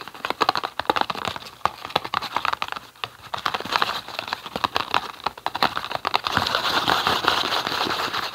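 A small, hollow, green printed cardboard tea box is turned in the hands and tapped and scratched with fingertips and nails. Quick, dry, papery taps and clicks come in irregular bursts with little low end. The last couple of seconds give way to a denser, brighter scratching rustle.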